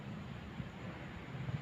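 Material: Nothing is struck.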